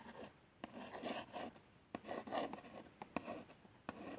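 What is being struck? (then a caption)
Small printed cardboard box. A long nail and fingertip trace the printed lettering on a small, hollow cardboard box of plasters. The result is soft, dry, scratchy rasping strokes, with a few brief sharp ticks where the nail catches. It sounds quiet and close, with little low end.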